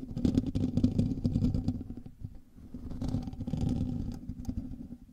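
Fingernails of both hands scratch the hollow metal mesh grille of a black microphone, producing a dense, low-heavy rasping scrape with a steady hum-like tone near 200 Hz. The scratching swells in two long bursts, easing briefly around the middle before picking up again, then trailing off at the end.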